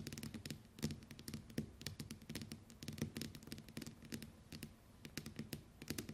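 Long white nails on both hands tap rapidly on the glass screen of a small, flat smartphone lying on a wooden table. The result is a dense, quiet patter of short, sharp clicks, each carrying a bright tick over a soft, low knock from the table, and the taps die away almost instantly.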